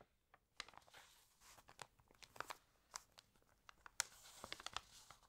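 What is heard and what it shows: Fingertips rub the pages of an open, water-damaged glossy paper magazine and turn them. The result is quiet, dry crinkling and rustling, broken by sharp, bright crackles that stop instantly with almost no low end.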